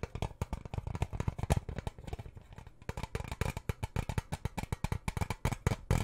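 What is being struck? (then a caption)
Metal tin lid. Fingernails scratch and tap the lid of a round, hollow blue metal tin held up close. Dozens of quick, dull taps with a low, boomy body and almost no ring are mixed with soft scratching over about six seconds.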